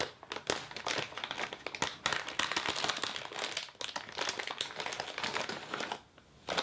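A clear plastic wrapper with a printed label around a green crepe paper streamer roll is pulled and crinkled by both hands with fingertips and nails as the roll is slid out. Dense, bright crinkling and crackling continue almost throughout, with very little low end. The sound fades near the end before a final burst of crinkling.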